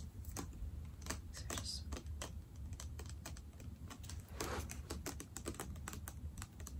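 Long dark-painted nails tap rapidly on a medium Bath & Body Works foaming hand soap bottle, which is clear plastic with a dark green tint, a black pump and a paper label, hollow and seemingly filled with soap, held close. The taps are quick, light, keyboard-like clicks with short ring over a steady low hum.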